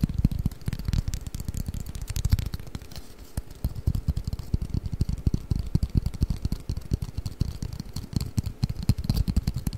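A long, flat, hollow cardboard Mikado pick-up sticks box is held over the microphone and tapped and scratched with fingertips and nails. The result is a dense stream of quick, dull, hollow thumps centered low around 145 Hz that die away almost instantly, with a faint, high, papery scratching hiss between them.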